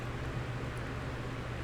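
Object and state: Nothing is struck.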